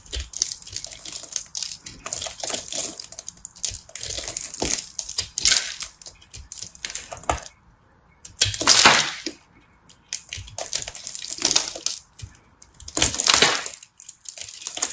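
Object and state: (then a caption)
Pressed soap being carved with a knife. A solid, pressed multicolor soap ball is held in a hand with red-painted nails and carved and scraped with a small knife blade. The sound is dense, bright, crisp scraping and crackling in irregular bursts, with brief quiet gaps between strokes. Crumbs fall onto a striped cloth.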